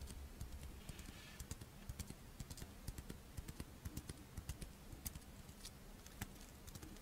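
Long nails tap and scratch the scale-patterned shell of a pink, fish-shaped strawberry monaka, a crisp rice wafer with chocolate filling, held in the hands. About 30 quick, dry, bright clicks land at an uneven pace, with faint scratchy rustling between them. A low, steady hum sits underneath throughout.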